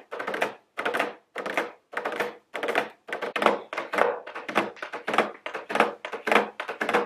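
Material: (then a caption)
Cardboard. Very long blue nails tap on a medium square cardboard nail polish gift box, held upright, with a round plastic window over the nail polish bottles. Short bursts of quick, dry tapping come in a steady rhythm. Each burst is a hollow, papery clatter centered in the midrange around 480 Hz with a bright edge, and it stops with almost no ring.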